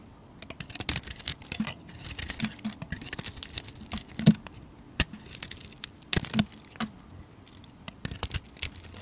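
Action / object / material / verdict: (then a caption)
scrape / solid soap bar scraped with a metal blade / soap / none. A hand-sized solid bar of soap with a grey, blue-glitter coating and a white core is held in the hand and shaved and scraped with a metal utility blade. Dry, crisp scraping and crackling cuts come in quick, uneven bursts, bright and hissy, with a soft low thud as some strokes bite in. Each stroke stops dead with no ring, leaving a quiet pause before the next.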